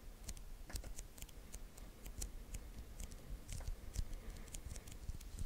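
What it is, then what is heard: Sticky paper lint roller. Fingertips press and slowly peel off the white adhesive paper roll of a handheld lint roller. The sticky paper gives soft, crackling snaps and brief bright ticks as it releases, over a steady low rumble.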